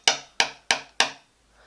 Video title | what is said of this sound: Turbo Morpher Review | you can actually really hear that metal if you tap it against something like this